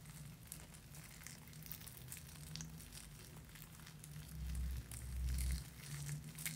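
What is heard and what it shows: A small black cloth drawstring bag holding a bar of soap is pressed and crinkled with fingertips. The result is soft, irregular crinkly rustling with brief bright ticks over a steady low hum that swells louder toward the end.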